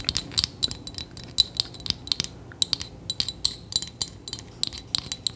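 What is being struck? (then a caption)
Small metal trinket box studded with gems. Long nails rapidly tap and scratch across a small hollow metal trinket box decorated with studs and gems, held in the hands. The result is a quick, irregular series of bright, high-pitched metallic clicks and ticks, each dying away almost instantly, with faint scraping between the taps.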